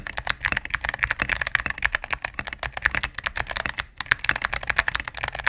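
Rapid typing with fingertips and medium nails on a cream full-size mechanical keyboard with plastic keycaps on a solid plastic case. The result is a fast, steady stream of short, bright clacks with a brief pause near the four-second mark.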